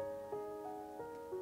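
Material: Nothing is struck.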